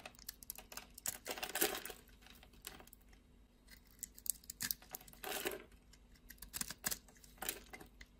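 A utility blade scrapes and carves flakes off a solid blue and white striped bar soap held in the hand. Crisp, bright scraping and rapid clicking ticks are heard, with longer rasping scrapes swelling near 1.5, 5.3 and 7.5 seconds. Flakes shave away in quick, dry strokes.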